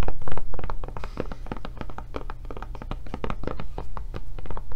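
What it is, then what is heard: Silicone rubber tablet case. Long nails tap rapidly on the back and handle area of a blue silicone rubber tablet case held sideways. The result is a dense stream of soft, dull, short clicks that fade almost instantly, over a steady low hum.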